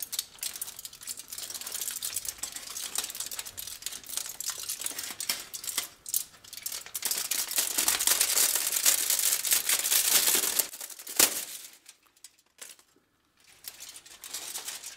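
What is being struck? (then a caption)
Thin aluminum foil sheet. A thin, flattened, wrinkled aluminum foil sheet held in both black-gloved hands is flexed and crinkled, then waved at the end. It makes dense, bright crackling and crinkling that builds to its loudest stretch around 8 to 10 seconds, followed by a sharp crackle and then sparser, softer rustles with brief near-silent gaps.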